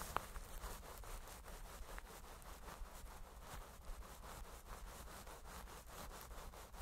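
A flat-topped makeup brush rubs back and forth across a microphone head wrapped in clear plastic cling film, held in one hand. Soft, quick crinkling strokes repeat steadily over a low, constant rumble, with occasional brighter crackles.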